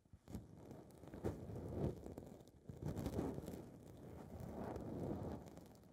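Long red nails scratch and rub a small blue foam windscreen ball on a recorder's mic capsule. The result is a close, muffled, low-heavy rustling and crackling that swells and fades in soft continuous waves, with a few sharper scratches standing out.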